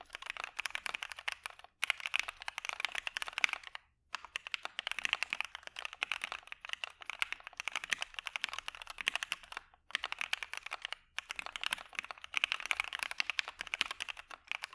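Continuous fingertip typing with both hands on a dark Maja mechanical keyboard with PE foam and white PBT keycaps. Fast, bright, dry clacks with no low end and no ring run in steady bursts, broken by brief pauses near 2, 4, 10 and 11 seconds.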